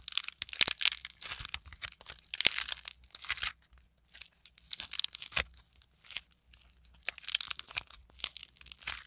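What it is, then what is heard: Modeling clay lump. A solid, fist-sized lump of green and teal modeling clay is squeezed, torn and pressed with fingertips and long nails. It makes bursts of bright, crisp crackling and tearing with sharp little snaps, broken by short quiet pauses. The sound is dry and close, with almost no low end and no lingering ring.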